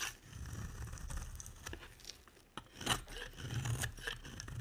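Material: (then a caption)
Soap. A utility knife blade scrapes shavings from a solid, dry, light blue embossed bar of soap. The result is a steady, crisp scraping and crinkling texture with bright ticks, sharper catches near the middle and toward the end, and a soft low rumble underneath.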